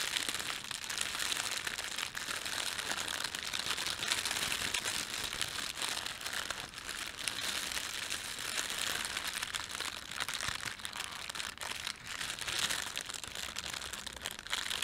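Fingers crumple a thin red printed plastic bread bag, then stretch it taut with the thumbs. A steady, dense bright crinkling runs throughout with almost no low end, made of fast crackles that die away almost instantly.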